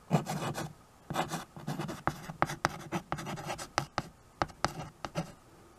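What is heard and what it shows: A white chalk stick scratches and rubs across a small, solid, flat wood-framed chalkboard while names are written. Bursts of dry, gritty scraping alternate with sharp taps and short strokes, and each stroke stops abruptly with almost no ring.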